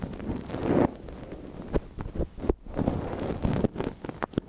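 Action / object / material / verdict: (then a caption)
scrape / silicone dummy ear on a binaural microphone, wooden ear pick / silicone / none. A thin wooden ear pick, held in a gloved hand, scratches inside the canal of a small, hollow white silicone dummy ear on a binaural microphone. The result is close, rustling scrapes and soft crackles with a low, muffled rumble beneath. Quick scratching taps come in irregular bursts.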